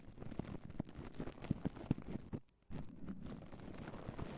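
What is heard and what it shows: A red foam microphone windscreen wrapped in clear cling film is rubbed and lightly tapped by the bare fingertips of both hands. It gives close, low crinkling and scratching with soft taps and a brief silent gap near the middle.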